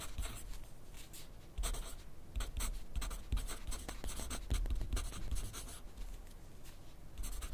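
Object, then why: Graphite pencil on a paper sheet clipped to a clipboard. A wooden graphite pencil is drawn across a thin sheet of grid paper clipped to a flat clipboard on a desk while writing. The sound is a steady run of dry, bright scratching strokes with soft low taps as the pencil moves, rising and falling in bursts.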